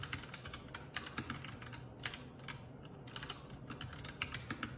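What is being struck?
Mechanical keyboard with plastic keycaps.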